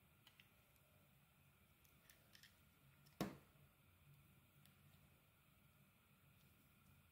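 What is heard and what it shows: A utility knife peels strips of lime-green coating from a solid oval soap bar with a white core, held in the hand. Faint, soft scraping ticks sit over a low, steady background hum. About midway, one sharp, crisp cutting snap stands out and dies away quickly.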